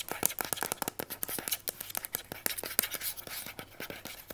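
Long white almond-shaped nails rapidly scratch and tap on the hollow plastic body of a mint-green Instax instant camera. About 29 quick, sharp, bright clicks and scratchy strokes come in a fast, uneven run, each dying away almost instantly with little low end.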